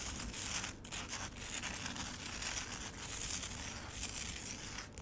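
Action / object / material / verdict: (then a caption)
scrape / frozen lemonade ice in a plastic tray / ice / none. Long acrylic nails scratch and tap across the icy surface of a solid slab of frozen lemonade set in a black rectangular plastic tray. The sound is a steady, bright, crackly scraping texture with crisp ticks and brief lulls.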